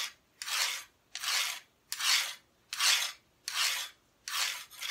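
Long nails scratch the flat, solid, bare back of an unfinished wooden cutout Christmas decoration held close. About seven even strokes repeat in a steady rhythm, each a bright, dry rasp with no low end, separated by short silences.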